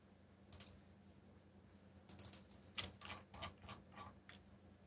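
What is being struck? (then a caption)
Plastic mechanical keyboard. Fingertips type on a backlit mechanical keyboard with black plastic keycaps, producing about ten bright, sharp clicks in an uneven rhythm. There is a lone tap early, then a quick cluster of keystrokes in the second half. A faint, steady low hum sits underneath the quiet typing.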